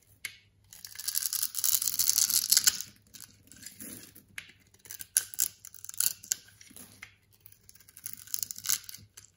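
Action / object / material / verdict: scrape / soap bar / soap / none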